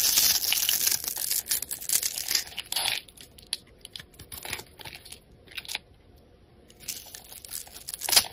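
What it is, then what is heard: Bar of soap being cut and scraped. A solid green Coast soap bar held in the palm is cut into a grid and scraped with a metal utility blade, so small cubes crumble off. The sound is dry, high-pitched scraping and crisp crumbling crackles. A dense, steady scrape opens the clip, then short irregular bursts follow with quiet gaps, and the clip ends with a louder scrape.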